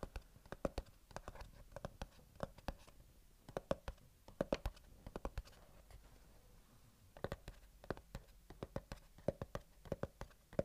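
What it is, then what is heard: Cardboard box scratched. Fingernails scratch and trace across the printed top surface of a small, closed, hollow white cardboard earbuds box held in the hands. Quick, dry tapping clicks come in bursts over a soft scratching hiss, with a slightly hollow mid-range tone. A quieter stretch of mostly scratching sits near the middle before the clicks pick up again.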